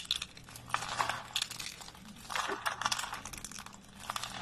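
Fingertips and thumbs pick up small solid pieces from a pile of thin, dry, pale green soap flakes on a wooden surface and crush and snap them. Repeated crisp, bright crunches and sharp snaps come in irregular bursts, each dying away quickly over a faint low hum.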